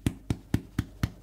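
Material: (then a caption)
Bread. Five taps on the bottom of a hot pretzel loaf fresh out of the oven give short, low, hollow drum-like thuds. The hollow sound shows it is baked through, and it must be checked while the bread is still hot because the sound partly comes from the steam.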